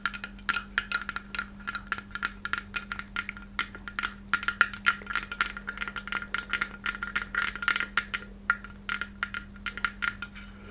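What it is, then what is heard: Glass Christmas ornament tapped with fingernails. A palm-sized white hollow glass Christmas ornament shaped like a takeout box, with red lettering and a silver cap, is held in both hands and tapped with long red acrylic nails. Many quick, crisp clicks come in uneven bursts, each dying away almost at once with a faint glassy ring near 1.4 kHz. A steady low hum sits underneath the whole time.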